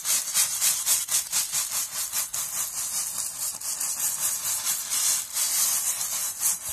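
A palm-sized, loosely packed steel wool scouring pad of coiled metal wire is squeezed and rolled between fingers and scrubbed against the surface. It makes a bright, scratchy rasping hiss with almost no low end, rising and falling in repeated strokes like sawing.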